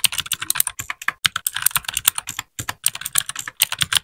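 A small white 60% mechanical keyboard with plastic keycaps and an RGB backlight is typed on continuously with the fingertips of both hands. About 28 quick, bright, clacky keypresses sound in rapid succession, each dying away almost instantly with a brief pause midway.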